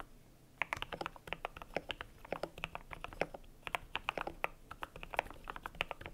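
Fingertips type steadily on a cream compact mechanical keyboard with PBT plastic keycaps, producing a rapid run of short, crisp clacks with bright upper tones. The keystrokes stop almost instantly, leaving quiet background hiss between them.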